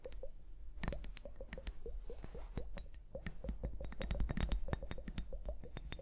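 A small clear plastic hourglass full of liquid and beads is held upright and tapped rapidly with long painted nails. The result is a steady run of quick, bright clicks with very short ring, over a constant low hum.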